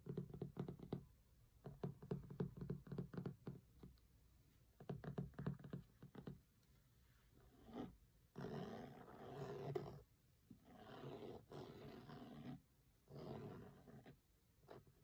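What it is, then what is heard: Cloth-covered hardcover book. Fingertips and short nails tap and scratch along the grey linen cloth cover and spine edge of a large closed hardcover cookbook lying flat on a table. Bursts of quick, soft, muffled taps give way to longer, rougher scratching passes across the cloth, with short quiet gaps between them. The sound stays dull and low-weighted, with little ring after each tap.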